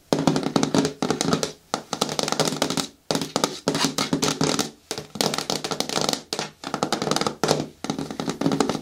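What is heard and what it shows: Long nails and fingertips tap on the side walls of a hollow, hard green plastic bin with a lid. Quick bursts of clicky, hollow knocks with a mid-low body around 250 Hz and a bright edge come in clusters separated by short pauses, each tap dying away fast.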